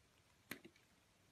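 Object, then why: Glycerin soap bar cut with a metal blade. A metal cutter blade slices strips off a solid, green, translucent glycerin soap bar with embedded cubes, held in the palm. There is a sharp, bright cut, followed by two softer, quicker scrapes that die away almost at once against a quiet background.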